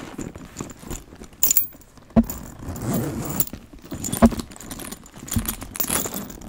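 A brush scratches and strokes a black leather handbag with a gold chain, working over both the leather and the hardware. Soft, uneven scraping and rustling runs throughout, broken by a few sharp clicks and a bright metallic jingle from the chain.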